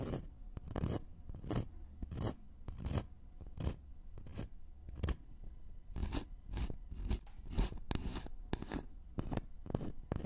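Fingernails of both hands quickly scratch a thin, flat, solid wooden notched trowel board. The result is a steady run of short, dry, rasping scratch bursts with a dull low body and almost no ring.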